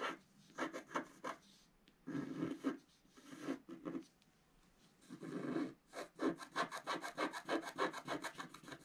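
A wooden stylus scratches lines into a flat scratch art page, a black wax layer over rainbow paper, lying on a table while the other hand holds the page down. Quick dry scratching strokes come in bursts with a few longer rasping rubs, ending in a fast run of short, evenly spaced scrapes with a bright, papery texture.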